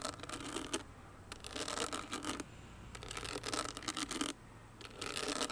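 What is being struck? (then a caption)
Small owl-shaped clutch with crystals set in a metal frame. A small hollow owl-shaped clutch with crystals set in a metal frame is scratched and rubbed with long nails. Bursts of bright, dry scratching alternate with quieter pauses, in four main stretches of rapid raspy strokes.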